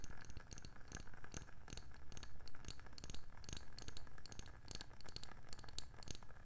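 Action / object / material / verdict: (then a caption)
tap / round wooden candle lid / wood / none. A round, palm-sized, hollow wooden candle lid is tapped rapidly with long nails. The result is a steady, quick run of dry, hollow knocks with a low body and short, bright clicky edges that die away almost at once.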